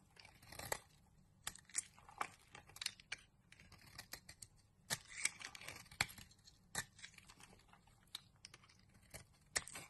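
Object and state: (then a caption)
Bar soap being carved. A utility knife blade scrapes and carves shavings from a solid pink rectangular bar of soap held in the palm. Quiet, crisp, bright scratching strokes come in short uneven bursts, with faint crackling between cuts and very little low end.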